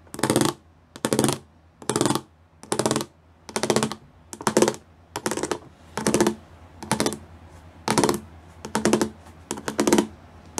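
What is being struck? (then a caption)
Plastic panel with pyramid studs. Fingertips tap rapidly on the pyramid studs of a solid grey plastic panel. About a dozen short bursts of quick, dry plastic clicking come at a steady pace, each a bright rattling flurry with a hollow low-mid body, separated by near silence.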